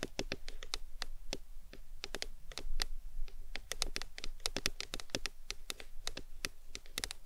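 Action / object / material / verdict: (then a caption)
tap / aluminum drink can / aluminum / none. Long decorated nails tap and scratch the sides of a tall, printed aluminum Arizona drink can, which stands upright on a fluffy towel and is held by both hands. The result is a steady run of quick, sharp, bright clicks with very little ring, over a constant low rumble.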